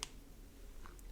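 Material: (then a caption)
Titanium. A titanium bolt-action pen, fitted with a lighter spring, is shaken to check for rattle. Only two faint, bright clicks rise above a quiet, low background. The pen shows almost no rattle, just a little when shaken very hard.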